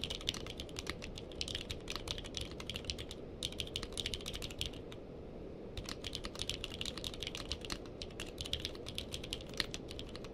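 A purple-cased mechanical keyboard with plastic keycaps is typed on with the fingertips of both hands, producing a fast, steady stream of sharp, bright clicks over a low background hum. The typing pauses briefly twice, around 3 seconds and again near 5 seconds, before resuming at the same pace.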